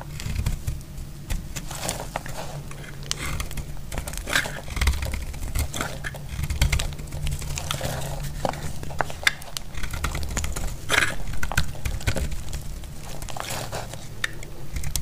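A solid, dry red soap bar is cut with a metal blade, and brittle flakes fall onto a pile. Dense, dry scraping and crackling continue throughout, with many short crisp ticks over a low steady hum.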